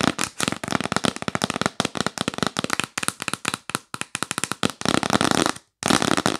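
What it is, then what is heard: Cardboard box lid. Long nails tap rapidly on the lid of a yellow printed cardboard box held upright, making a fast flurry of short, dry clicks with some low thuds mixed in. The tapping stops briefly near the end, then resumes just as fast.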